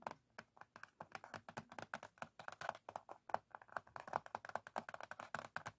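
Fingertips with short nails rapidly tap and scratch the lid of a small, closed, printed cardboard matchbox, a hollow box with matches inside. The result is a quick, dry run of about forty soft, papery clicks with a hollow mid-range tone and almost no ring.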